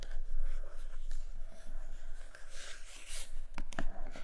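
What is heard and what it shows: Long nails scratch across the glossy printed top of a large iPad Pro cardboard box, making a soft, continuous rasping with a low rumble underneath. Sharper, brighter scrapes and a few crisp taps stand out near the end.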